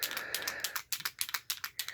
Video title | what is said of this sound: Autograph Tips & Tricks! | shake it up just like this you should hear that sound